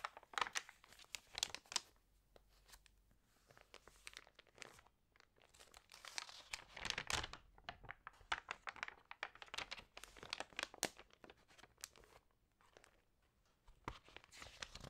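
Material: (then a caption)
Paper. Hands with long painted nails smooth and turn the pages of an open, printed lifestyle magazine made of thick paper, resting on a yellow surface. Quiet, bright, crinkly paper rustles and brief crackling sweeps come in bursts, with short pauses between page movements and almost no low end.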